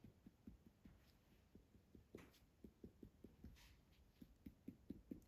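Finger percussion is tapped across a human abdomen during a physical exam, producing 12 short, dull, low-pitched taps around 270 Hz with almost no ring. The abdomen sounds normally hollow (tympanic), as expected over the bowel.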